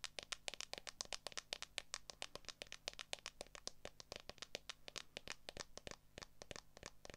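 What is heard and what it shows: Long acrylic nails tap quickly on the back of a smartphone near the camera; the phone sits in a solid, transparent plastic case. The result is a rapid, uneven stream of short, bright, dry clicks with almost no ring, over a faint low hum.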